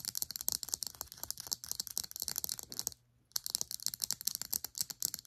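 Long acrylic nails tap and scratch the sides and cap of a small cylindrical plastic serum bottle held upright. The result is a fast, dense run of sharp, bright clicks and scrapes with almost no low end. They stop for a brief silence near the three-second mark, then resume.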